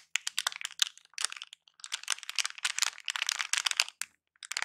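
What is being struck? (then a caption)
Thin plastic anti-static bag. A small silver plastic anti-static bag wrapped around a battery is crinkled, squeezed and scratched with fingers. The result is dense bursts of bright, crackling crinkle with almost no low end, broken by two short silent pauses.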